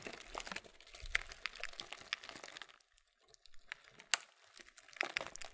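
A printed, laminated plastic Kellogg's muesli bag has its bottom gusset pressed and crinkled with the thumbs. Dense, bright crinkling and crackling is punctuated by sharp snaps. The sound dips almost to silence around the middle before louder crisp cracks return.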